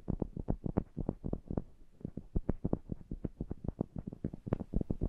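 A pair of small cylindrical metal pencil condenser microphones with mesh grilles is held in hand while fingertips and nails tap and rub the grilles and rims. The result is a rapid, uneven stream of close, muffled, bassy thumps with very short decay, a soft rubbing scrape between taps and almost no high-end brightness.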